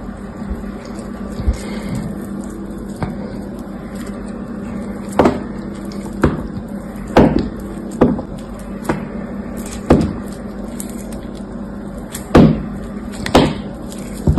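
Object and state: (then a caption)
Dried soap bar being scraped. A hand-sized solid blue soap bar with a grey dried crust is held in one hand while an orange-handled utility knife blade carves and scrapes the crust off. Crisp, sharp cutting snaps come in an irregular series over a steady low hum. Each cut is brief with a quick decay.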